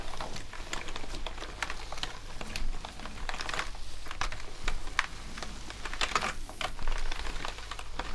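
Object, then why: Plastic computer keyboard. A full-size black plastic gaming keyboard with hollow keycaps lies flat while gloved hands rub and press two natural sponges across its keys. Dense, irregular bright key clicks sound over a soft, continuous scrubbing rustle, with a steady low hum underneath.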